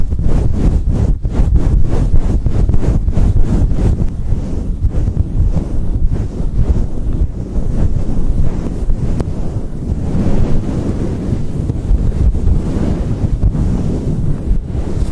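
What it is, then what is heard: Faux fur microphone windscreen being rubbed. Fingertips and palms of both hands rapidly rub and scratch a fluffy synthetic faux fur microphone windscreen, covering and uncovering it. The result is a dense, muffled, low rumble like heavy wind buffeting a mic, with quick scratchy bursts and no bright content. The sound stays loud and continuous throughout.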